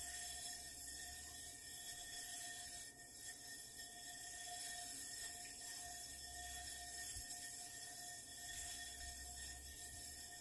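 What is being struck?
Nothing is struck.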